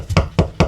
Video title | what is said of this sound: 💡This Should Have Been The BIG DAY🔌 But We Dropped The Ball 🤬#homestead #offgrid #tinyhouse #solar | That sounds like something's behind it.